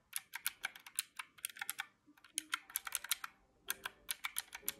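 Fingertips press the round black keys of a small mint-green plastic calculator held in the hand, producing about 27 quick, bright, dry clicks. The clicks come in uneven bursts with brief pauses, and each is short with almost no ring.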